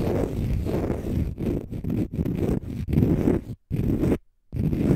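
A palm-sized, solid, porous, pale-green dry konjac sponge is scratched with short fingernails in fast strokes. The result is a dense, low, rumbling scraping sound in bursts, broken by brief silent pauses.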